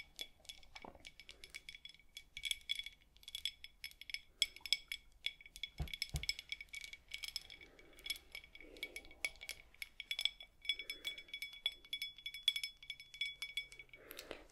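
Long acrylic nails tap and scratch a small, empty, faceted cut glass whisky tumbler held in both hands. Rapid, bright clicks and clinks chime with a steady high ring near 3.4 kHz, mixed with soft scratchy rustles and a brief low thump midway. Each tap dies out almost instantly.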